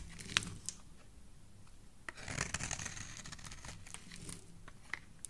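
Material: Soap.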